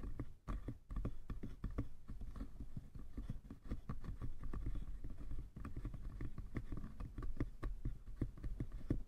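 Fingertips of both hands tap rapidly on the sides of a small, hollow, light-wood box. The result is a quick, continuous patter of dull, hollow knocks, mostly low in pitch, with each tap dying away almost at once.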